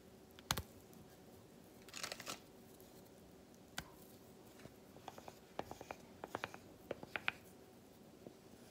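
A solid milk chocolate bar is tapped with a broken-off piece of the same chocolate, producing a series of quiet, dry, sharp clicks with no ring. A short scratchy, crinkly burst comes near the start, and the taps grow quicker and more clustered toward the end.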